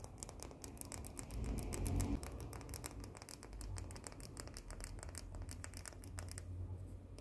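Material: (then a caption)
Chocolate. Long painted nails rapidly tap and scratch a small round cookie with a solid white chocolate coating, making sharp, irregular clicks and scrapes. The sound sits over a steady low hum and grows briefly louder about two seconds in.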